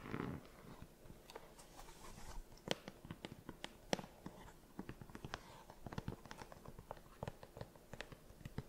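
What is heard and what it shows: Long nails tap and scratch the synthetic and mesh upper of a hollow, empty cream sneaker as the shoe is turned. The result is a quiet, steady run of short, dry clicks and soft scraping, with a few sharper taps standing out above the rest.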